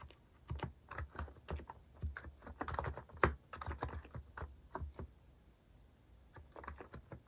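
Fingertips type steadily on a compact white-cased Hanmumu mechanical keyboard with plastic cat-themed keycaps. Short, muffled clacks come in uneven bursts with brief pauses, and one sharper strike stands out near the middle. The sound is a soft, low thocky tone with very little bright edge.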